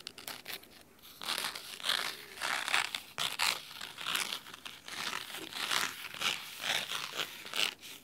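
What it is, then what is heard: Cloth-bound hardcover book being scratched. Fingernails scratch the cloth spine of a large red cloth-bound hardcover book, producing crisp, bright, papery scratching strokes. The strokes come in repeated swelling bursts over eight seconds, with almost no low end.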